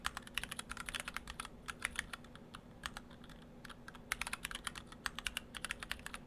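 Fingertips of both hands type on a split ortholinear mechanical keyboard in two halves with clear acrylic cases, white and cyan PBT dye-sub keycaps and Gateron Brown switches. A steady run of many short, bright, dry clicks and clacks with irregular rhythm and brief pauses sits over a faint low hum.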